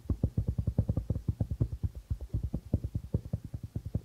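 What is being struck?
Darbuka drum with plastic head.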